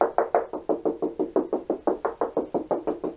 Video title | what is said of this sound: How to Fix into Plasterboard - a Complete Guide to all the Best Fixings | And this wall, where I dot and dabbed insulated plasterboard, has another sound again.